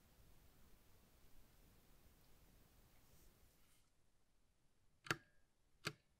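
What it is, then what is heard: Plastic mechanical keyboard space bar. A small 60% Ducky Mecha Mini Frozen Llama Edition mechanical keyboard with a light blue plastic case and plastic keycaps has its space bar pressed with a gloved fingertip. After several seconds of faint hiss, two sharp, bright plastic clacks sound close together, each with a very short decay.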